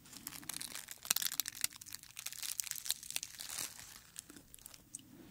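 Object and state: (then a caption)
Dried rose head, dry and brittle. A dried dark red rose head held in the hand as fingertips crumple and rub its dry petals. The result is a bright, dense crinkling and crackling with many short, sharp snaps and almost no low end.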